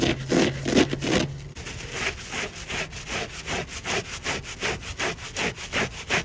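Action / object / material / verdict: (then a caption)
scrape / polyurethane foam sponge with scourer pad / foam / none. Fingertips scrub and rub a large, soft, porous yellow polyurethane foam car sponge with a green scourer pad on one side, covered in soapy lather, then squeeze and flex it by hand. A louder, wet rubbing with a low hum opens the clip, then gives way to steady, rhythmic swishing strokes about three times per second. The strokes have a crackly, bright, sawing-like texture.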